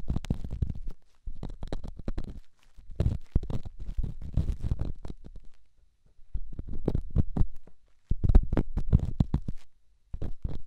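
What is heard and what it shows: A small, solid, rough rock held in the fingertips is scratched and rubbed inside a silicone binaural microphone ear. It makes close, muffled scraping and crackling in dense bursts, with deep thumping rumble around 59 Hz and brief quiet gaps between strokes.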